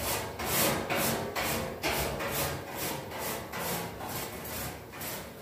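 A red-handled brush with dark bristles is scrubbed back and forth across the perforated grille of a large, white-painted, hollow metal radiator panel mounted on a wall, cleaning its surface. Steady, fairly regular strokes, about two per second, make bright, scratchy hissing bursts with a faint hollow metallic ring underneath.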